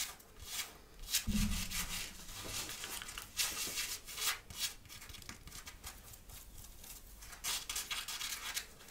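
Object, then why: Cotton sweatshirt fabric. Long painted fingernails and fingertips scratch and rub the chest area of a soft grey long-sleeve cotton-like sweatshirt with a cat print, worn on the body, close to the microphone. Bright, hissy scratching strokes come in uneven bursts over a steady rustle, with a brief low thump near the start.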